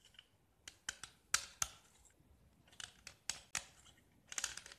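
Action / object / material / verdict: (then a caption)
scrape / gypsum block scraped with a metal knife blade / gypsum / none. A small solid gypsum block, once painted orange and now mostly bare white with orange remnants, is scraped with a metal utility knife blade. Short, bright, dry scrapes come in irregular bursts with quiet gaps between them. Each stroke stops almost at once, with no ring.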